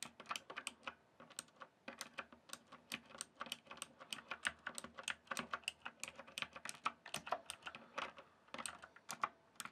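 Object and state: Plastic computer keyboard being typed on.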